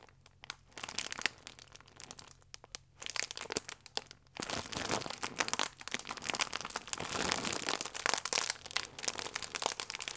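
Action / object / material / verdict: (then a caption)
scrape / plastic film food wrapper / plastic film / none. A full plastic film croissant pack is folded and squeezed between the thumbs, crinkling the film. Sparse, quieter crackles in the first few seconds give way to a dense, louder run of bright, crisp crinkling for the rest of the clip.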